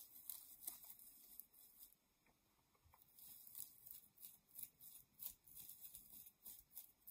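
A soft, hollow yellow-white nylon mesh shower pouf, held in both hands, is scratched and squeezed with long nails. Quiet, bright, crinkly scratching comes in irregular short bursts, with a brief near-silent lull in the middle before the rustling picks up again.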